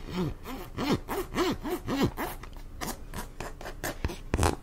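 Long acrylic nails scratch and rub a medium-size teal plastic cosmetic squeeze tube, hollow with some product still inside. The result is a run of short, rhythmic strokes with squeaky, rising-and-falling low-mid tones and a light scratchy hiss, ending in a few sharper clicks.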